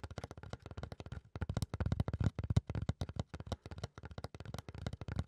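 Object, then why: Flat fiberboard panel. Fingertips and nails scratch and rub a flat, solid brown fiberboard or thick cardboard panel held upright. A rapid run of short, dry scratching strokes sounds mostly low and dull, with brief pauses between bursts. Each stroke stops dead with no ring.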